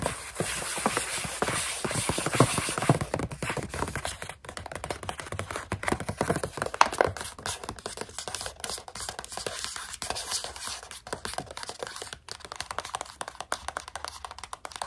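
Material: Plastic.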